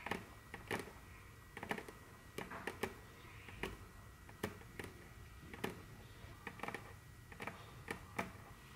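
Very long curved fingernails tap and click rapidly on a large, solid, dark brown glossy wooden tabletop. Sharp, dry clicks arrive in an irregular rhythm, each dying away almost instantly over a faint, steady background hiss.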